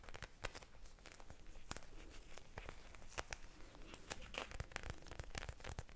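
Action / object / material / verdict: tap / plastic eye mask filled with gel beads / plastic, gel / none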